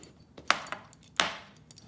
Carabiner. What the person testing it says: that sounds like plastic to me